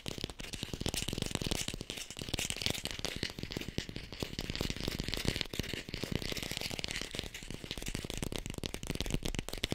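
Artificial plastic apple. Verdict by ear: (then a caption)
Fake. An artificial red plastic apple is tapped quickly and continuously, close to a hi-fi microphone. The result is a dense, even stream of short, dry clicks with a low thump and a bright clatter on top, and no ring between taps.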